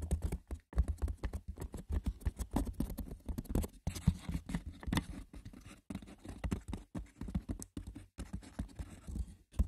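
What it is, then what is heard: Wicker basket. Fingers scratch and tap roughly across the textured woven surface of a wicker basket. A dense, continuous patter of light, dry clicks and scratches is heard, mostly low and dull in tone with very short ring.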